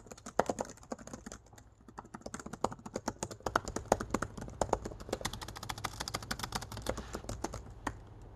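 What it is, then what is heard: Plastic laptop keyboard. Fingertips type and tap rapidly across black plastic keys set in an aluminum laptop body. A fast, uneven stream of short, dry clicks decays almost instantly, with a faint steady high tone and a low hum underneath.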